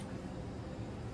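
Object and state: Nothing is struck.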